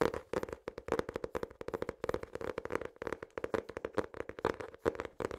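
A small notebook with an ornate patterned hard cover and an elastic band is tapped and scratched with fingernails and fingertips. Rapid, dry, crisp clicks and scrapes follow one another in uneven clusters, each dying away almost instantly, with a faint hollow tone around 400 Hz under the taps.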